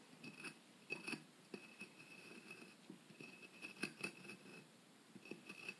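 A solid white plaster block about the size of a brick, from a dinosaur excavation kit, is held steady by hand and scratched and scraped with a small metal pick tool. Quiet, bright, gritty scraping comes in short bursts with sharp little clicks, over a thin steady tone near 2.6 kHz.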